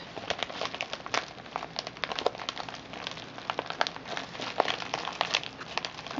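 A flat, envelope-sized pink metallic-foil padded bubble mailer with a paper shipping label, sealed with its contents inside, lies on a table. Both hands press and rub it with their fingertips and painted nails. The result is a steady stream of dense, bright crinkling and crackling from the foil and bubble padding, with many short, sharp crackles.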